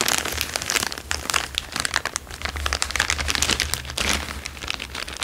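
A thin, empty, transparent plastic bag is held in both hands and crinkled and squeezed with the fingertips. The result is a dense, continuous run of bright, crisp crackles and rustles that swell and ease over about five seconds, over a faint steady low hum.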